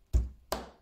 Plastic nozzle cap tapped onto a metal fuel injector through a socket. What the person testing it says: vous entendez clic, hop, c'est remonté